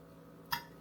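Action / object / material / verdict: scrape / breaded chicken strip scraped with a fork / breaded chicken / crisp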